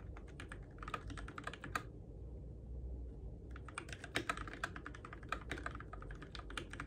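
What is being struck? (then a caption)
Mechanical keyboard with plastic keycaps. Fingertips type on the plastic keycaps and switches of a Keychron K6 compact RGB-backlit mechanical keyboard in the dark, producing rapid, bright clacky taps. A short burst of typing is followed by a pause of about one and a half seconds, then steadier typing resumes. A low, constant hum sits underneath throughout.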